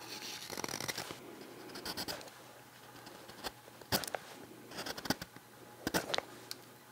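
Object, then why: Green wood spoon blank carved with a steel knife. A steel knife slices thin shavings off the bowl and neck of a small, solid green-wood spoon blank held in the fingers. Dry, bright scraping strokes and short crisp cuts follow one another at an uneven pace over a faint steady hum.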